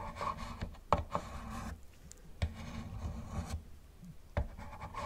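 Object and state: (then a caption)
Plastic toy car being scratched. A gloved fingertip scratches and rubs the rear of a hollow yellow plastic Camaro model car. It makes a soft, low, hollow rubbing and scraping sound, broken by several sharper scratchy ticks.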